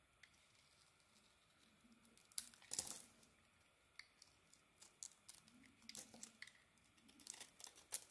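A small metal blade scrapes and carves curls and flakes off a rectangular solid bar of soap with a dark brown outer layer and pink inside, held in the palm. The quiet clip holds a series of short, crisp scrapes and crackly, tearing strokes that are bright and high with almost no low end, each stopping dead with no ring. Thin curls and flakes come away from the bar.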